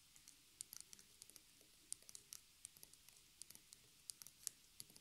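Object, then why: Stretched cotton canvas on a wooden frame. Fingertips and long nails of both hands tap rapidly on the fabric-covered side edge, where staples are visible, of a small white stretched cotton canvas on a wooden frame lying on a table. About 22 quiet, sharp, bright clicks come in an irregular patter, each dying away almost instantly, with very little low end.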